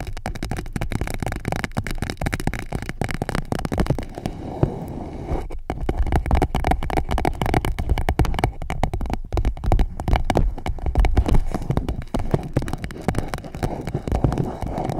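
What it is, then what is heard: Clear plastic pouch. An empty clear PVC pouch wrapped around a microphone is tapped and scratched with long nails, giving a dense, continuous stream of crinkly taps and scrapes. The close handling makes the sound heavy and muffled in the low end, with little bright detail. The activity runs steadily throughout without pause.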